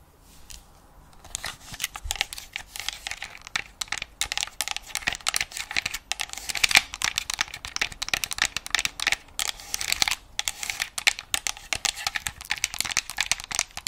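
Long acrylic nails tap rapidly across the shell and touchpad of a hollow white plastic PS5-style game controller. After a quiet opening second, a dense, continuous stream of short, bright, clicky taps follows, with a crinkly, crackling texture and almost no low end.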